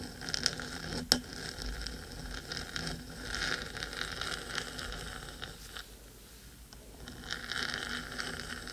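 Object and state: Metal microphone housing scratched and tapped.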